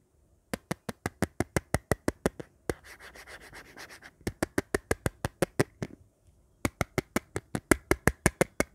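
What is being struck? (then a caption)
Hard plastic phone bumper case tapped and scratched with fingernails. Long painted nails tap and scratch along the edge and rim of an empty, dark, hollow hard-plastic phone bumper case with button cutouts, held in the hand. There are quick runs of 34 crisp, clicky taps, broken up by a stretch of steady, hissy scratching and a short pause.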